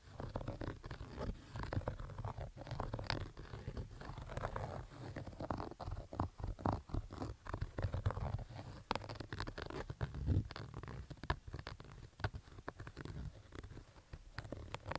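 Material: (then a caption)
Fabric. Fingertips and short nails scratch along the stitched fabric crown of a black Adidas baseball cap with stitched panels, lying on orange carpet. The result is a steady run of rough, dense scratching strokes with a heavy low rumble underneath and many brief scraping bursts.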